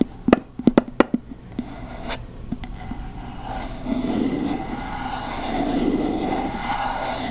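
Long nails tap the top of a candle jar's light, solid wooden lid, held close to the mic, giving eight short, dry knocks. The taps then give way to a steady, soft scratching across the wood.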